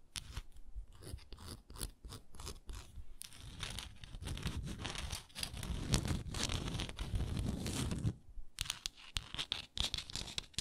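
Long nails scratch and tap on a small frosted glass moisturizer jar with a wooden lid, held sideways. Quick, dry taps open the clip, then a dense stretch of rough, low-heavy scratching with a bright crackly edge fills the middle. Sharp, separate taps return at the end.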